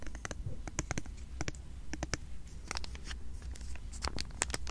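A small sealed foil wrapper of a trading card booster pack is held close to the microphone while fingers and nails crinkle, tap and scratch the foil. Sharp, bright crackles and quick clicks come at an irregular pace over a steady low hum, with no ringing after each touch.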